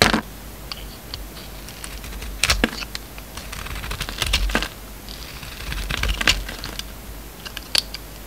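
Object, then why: Soap bar cut with a steel blade. A steel utility-knife blade shaves thin slices off a hand-sized, solid oval red embossed soap bar with a pink core, held in the palm. Soft crisp scraping and crackling run throughout, with several louder, bright crunching strokes standing out over a quiet low background.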